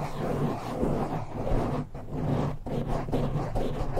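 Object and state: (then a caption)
Foam microphone windscreen being scratched. Fingertips and nails of both hands scratch fast at a black foam windscreen on a silver microphone. The result is a dense, continuous rumbling scratch, heavy in the low end with a steady hum-like tone underneath. It dips briefly in level twice before resuming.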